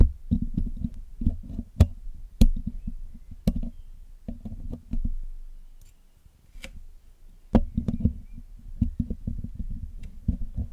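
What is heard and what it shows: A thin metal needle pick and metal tweezers scratch and pick at the hollow black metal mesh grille of a Blue Yeti microphone during cleaning. Close, low, dense scraping and rubbing is heard, broken by sharp, dry clicks and taps that cut off instantly. The sound thins to a quiet, sparse stretch midway before the busy scratching returns.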